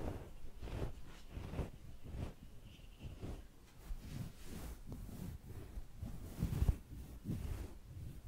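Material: Nothing is struck.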